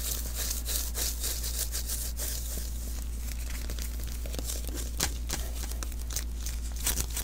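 Palm and fingertips pat and rub the sticky surface of a small hollow lint roller refill, an adhesive paper roll with a cardboard core visible at the end. Bright, crackly tacky peeling and crinkling bursts come and go over a steady low hum throughout.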